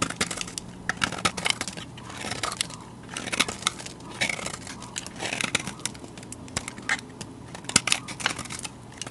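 A utility knife blade cuts and shaves chalky flakes off a solid white bar of soap with a yellow-orange rim, held in a hand with long dark nails. Dense, bright, crunchy scraping and crackling comes in quick bursts of sharp clicks with almost no ring. A faint low hum sits underneath.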